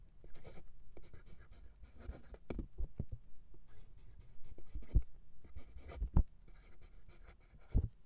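A steel fountain pen nib, held in fingers, writes cursive in green ink on a flat sheet of white lined paper resting on a desk. Soft, continuous scratching strokes come in irregular bursts, broken by a few sharper, louder taps of the nib against the paper.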